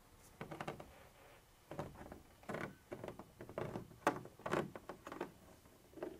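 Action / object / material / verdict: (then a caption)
scrape / textured plastic container wall scratched with a pointed tool / plastic / none. A black pointed pointer tool scratches and taps a white textured plastic surface that appears to be the wall of a hollow container, with a silver-bodied pointer also shown. Quiet, irregular bursts of dry, raspy scratching alternate with short taps, each dying away almost at once, with brief silent gaps between them.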